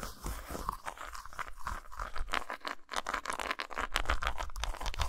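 Long nails scratch quickly across the textured top of a solid, flat dark chocolate bar lying on a towel, making dense, dry, crunchy scraping with a hollow low body. Near the end, a knuckle knocks on the bar, adding louder, dull taps.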